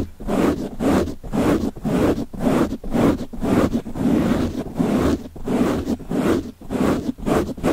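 A black foam windscreen fitted over a microphone capsule is held in one hand and scratched and rubbed with fingertips and short nails, its soft porous surface pressed against the mic. The result is a steady run of muffled, dull scratching bursts, roughly two per second, with a heavy low-mid rustle and very little high-end brightness.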